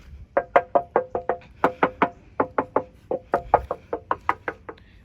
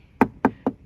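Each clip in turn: First: steel scooter body panel. Second: plastic scooter panel.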